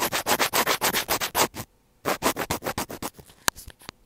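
A thin black pointed tool scratches along a small white plastic earphone inline mic housing on a cable, producing about eighteen quick, bright, rasping strokes. One rapid burst runs for about a second and a half, then a short silence follows. A second burst fades into fainter scratches, with a sharp click near the end.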